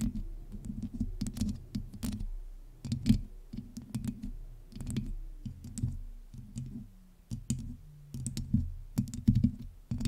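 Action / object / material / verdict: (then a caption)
tap / metal mesh microphone grille / metal mesh / none. Long nails on both hands scratch and tap the hollow metal mesh head of a black USB microphone. The result is a dense run of close, muffled rasps and quick clicking taps, heavy in the low end with bright crackles on top. A faint low tone slowly slides downward underneath.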